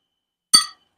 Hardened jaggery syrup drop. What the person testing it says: गुळाचा खणखण आवाज येतो म्हणजे आपला पाक पक्का झाला